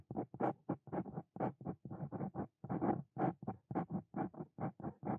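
A Brause Cito Fein metal dip pen nib scratches across a flat white paper notebook page in continuous writing strokes, with the hand and pen staying on the same page throughout. About 22 short, dry, raspy scratches come in an uneven rhythm of roughly two per second, each fading almost at once.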